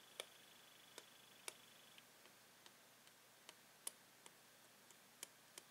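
A metal pen taps along a hollow clear plastic blister holding a toy pen on a yellow card, while a latex-gloved hand steadies the card. Eleven light, bright, high-pitched plastic ticks are heard, spaced unevenly, each dying away almost instantly over a soft background hiss.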